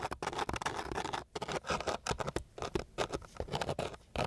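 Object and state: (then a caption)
Coarse sandpaper sheet. The tip of a flat wooden stick scratches and pats across a flat, gritty sheet of coarse sandpaper. Quick, irregular bursts of dry, bright rasping and short tapping strokes follow one another with brief pauses between them.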